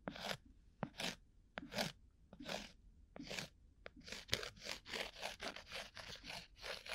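A round, flat, coaster-sized disc of solid cork, held against the ear of a binaural microphone, is scratched with a bamboo ear pick. About fourteen dry, crunchy scraping strokes come in an irregular rhythm, many starting with a sharp click. The sound is mostly bright and high, and the strokes crowd closer together in the second half.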